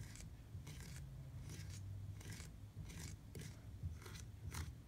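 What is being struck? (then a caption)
Hard plastic bicycle pedal. Fingertips tap and scratch across a black hard plastic platform bicycle pedal with grip studs. The result is a series of short, dry, scratchy bursts over a steady low rumble.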